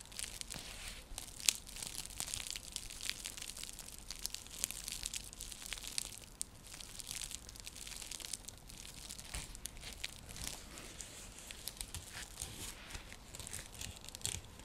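Long fingernails scratch across a round, flat, coiled woven seagrass coaster, producing a dense, continuous dry crackle and crinkling rasp that is bright and hissy in the high frequencies. The scratching runs throughout in rapid overlapping strokes with occasional sharper clicks, at a soft, close level.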